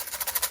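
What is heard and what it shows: A hard plastic box of T-pins is shaken so its contents can be recognized by sound without opening it, distinct from a box of stitch markers. It gives a bright, high-pitched, rapid rattle of pins clicking against the plastic, with almost no low end.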